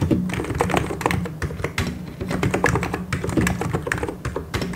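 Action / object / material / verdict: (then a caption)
tap / plastic mechanical keyboard / plastic / none. Fingertips type quickly on a white and grey plastic mechanical keyboard, producing a dense, steady stream of sharp clicking keystrokes. Each press lands with a low, rounded thock under a brief bright tick, with occasional heavier strokes standing out.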